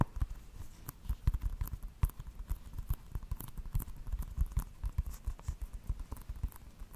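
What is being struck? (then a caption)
Plastic video game case. A small, flat, hollow plastic video game case with a Just Dance cover is held up beside a microphone and tapped with fingertips and nails. The result is a quick, irregular patter of dull, muffled taps, heavy in low thud and with almost no ring after each hit.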